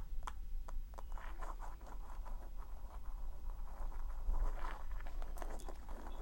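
Long acrylic nails scratch and tap across the textured dried-leaf cover of a small handmade paper notebook with a hard cover, lying flat. Dry, crackly scratches and light, quick taps with short bright clicks sit over a steady low rumble.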